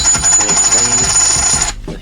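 A gold-plated counterfeit 2002 Silver Eagle coin is ring-tested, giving a bright, high-pitched ring that sustains for over a second before cutting off. Its tone is higher than the lower pitch of a genuine coin, marking it as fake; an acid test ruled out silver, and the coin is overweight.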